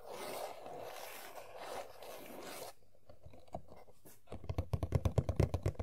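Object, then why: Printed cardboard toy box. Long nails scratch the back panel of an empty printed cardboard Funko Pop box (Sailor Jupiter), making a steady, dry, rasping scrape for nearly three seconds. After a brief quieter pause with a few faint strokes, a quick run of sharp, rhythmic scratches with a low, hollow cardboard thump follows until the end.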